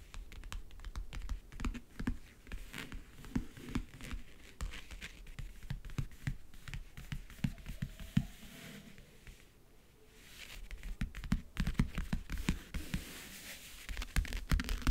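Long nails tap quickly across the map-print lid of a closed, hollow backgammon case in a rapid, uneven typing-like pattern. The taps are short, dry knocks with a hollow low body, briefly thinning out to near quiet around the tenth second before picking back up.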